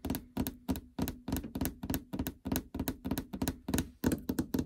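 Long fingernails and fingertips tap the plastic cover over a treadmill console's LCD screen, which sits in a hollow housing. The result is a quick, uneven run of short, hollow knocks with a faint low tone around 250 Hz and a clicky fingernail edge, each dying away almost at once.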